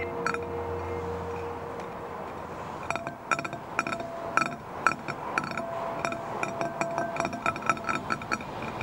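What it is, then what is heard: Glass bowl. Fingertips and short nails tap and scratch the inside bottom of a shallow, empty, clear green-tinted glass dish resting on a wooden table. Bright, irregular glassy clinks ring at a steady pitch around 1.3 kHz, separated by soft scratching.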